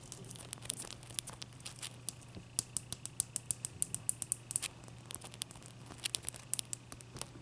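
Long dark fingernails on both hands tap and scratch the sides and top of a large, clear, solid block of ice resting on a towel. The result is a quick, uneven run of many sharp, bright clicks and scrapes that stop instantly, over a faint, steady low hum.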